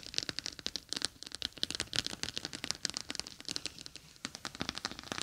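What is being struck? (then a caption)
Plastic eye mask filled with gel beads. A clear plastic eye mask filled with gel beads, with a green fabric rim, rests on top of a microphone while long acrylic nails scratch and tap across the beads. Dense, bright crinkly clicks and scratches come in quick, uneven bursts with almost no low end. Each sharp tick dies away almost instantly.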